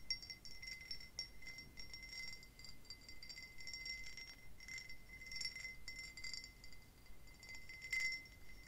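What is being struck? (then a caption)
Pressed-glass tumbler. An empty, hollow, tall green pressed-glass tumbler with an embossed pattern is held close to the mic and tapped rapidly with long nails. The taps produce a steady run of quick, ringing clinks: a sustained tone near 2 kHz with bright, high overtones above it, over a low, soft rumble.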